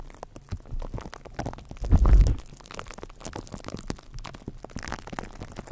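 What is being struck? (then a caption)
Metal wire-mesh microphone grille. Fingertips and nails of both hands tap and scratch directly on the hollow silver metal wire-mesh grille of a condenser microphone. A dense, irregular stream of soft, boomy, low-heavy taps and rustling scratches plays throughout, swelling into a louder muffled rumble around the two-second mark before settling back to quieter tapping.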